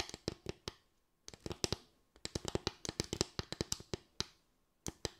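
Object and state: Bamboo slatted stand.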